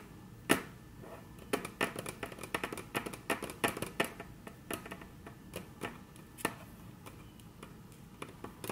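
Very long natural nails tap on a flat, solid, dark brown wood-grain tabletop in a quick, uneven series of sharp clicks. Each tap is crisp and bright with almost no ring, some louder and some softer. The taps cluster densely in the middle and thin out toward the end.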